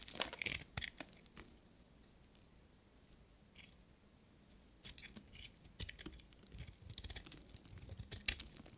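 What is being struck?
Soap bar shaved with a knife.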